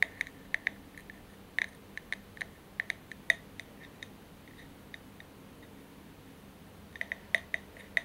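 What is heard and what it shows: Tapping and scratching on a glass candle holder produce about twenty short, bright glass clinks with a ringing tone near 1.9 kHz, each dying away almost at once. The taps come in quick clusters with a quiet pause in the middle before a final burst.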